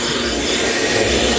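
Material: Nothing is struck.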